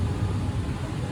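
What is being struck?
Nothing is struck.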